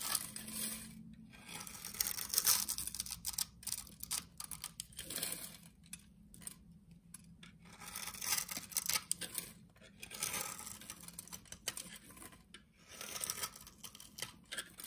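A solid, cream-colored rectangular soap bar held in the hand is scored and shaved into small cubes with a utility knife blade. The result is a quiet, dense stream of crisp, bright scraping and crackling, with rapid tiny ticks as the blade cuts through. Brief pauses break up the cutting.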